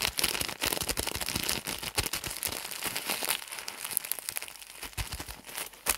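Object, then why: Pack of pads in thin plastic film. A full, soft rectangular pack of hygiene pads wrapped in thin printed plastic film is squeezed and crumpled with the fingertips of both hands. The result is a dense, continuous crinkling made of many quick, bright crackles with little low end.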